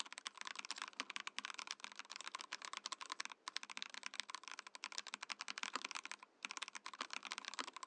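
Fingertips of both hands type rapidly on a compact 68-key Mojo68 mechanical keyboard in a transparent acrylic case with cream and orange plastic keycaps, while a separate Mojopad numpad beside it is left untouched. The presses form a dense stream of crisp, bright clacks with almost no low end and very short decay, broken by brief pauses near 3.4 and 6.3 seconds.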